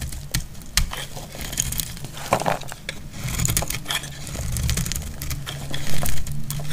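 A metal utility blade cuts and scrapes a solid, hand-sized, dry dark purple Lux soap bar, making a steady run of crisp, crackly snaps and scratchy scraping. Crackly flakes break off with sharp clicks over a low, dense rumble, and each sound dies away almost at once.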